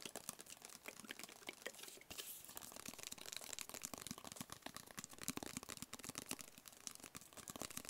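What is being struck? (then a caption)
Small rigid cardboard box. Fingertips and nails tap quickly across a small, hollow, rigid black cardboard box with printed lettering. The result is a quiet, dense stream of short, bright, crisp clicks and ticks with a thin papery rustle and almost no low end.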